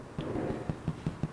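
Fabric canvas stretched tight over a wooden frame is struck four times in quick succession, giving short, dull, drum-like thumps with a low pitch that die away almost at once. The drum-like sound shows the canvas already has its tension.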